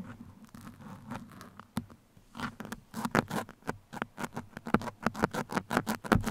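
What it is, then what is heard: Foam microphone windscreen scratched with pins. Steel pins are scratched along the sides of a black foam microphone windscreen, then poked into its top. A soft, rough, crackling scratch gives way to a rapid run of sharp, dry scrapes and pokes, each brief and close-sounding with a low, muffled body.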